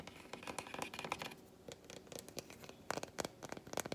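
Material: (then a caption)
Chocolate. A solid, flat, unwrapped milk chocolate bar, held in the hands and turned between its smooth back and segmented front, is scratched and tapped with long white acrylic nails. Soft, dry scratching runs under many quick, bright clicking taps that come in clusters, with a quieter stretch in the middle before sharper taps return.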